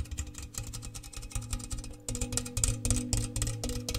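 A large, round, hollow, empty metal cookie tin with an open bare metal interior is held in the hands and tapped quickly with fingernails. The rapid, uneven taps give bright metallic clicks over a low, hollow resonant ring. The tapping grows louder and harder about halfway through.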